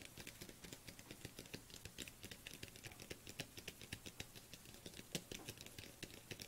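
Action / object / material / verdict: tap / small plastic jar with lid / plastic / none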